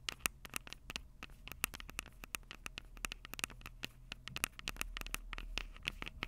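Long purple acrylic nails tap and scratch the two metal-grilled microphone capsules of a Tascam DR-05 handheld recorder with a plastic body. The result is a rapid, irregular patter of sharp, dry clicks with a bright ring near 2.6 kHz and light scratching, over a faint low rumble that swells slightly toward the end.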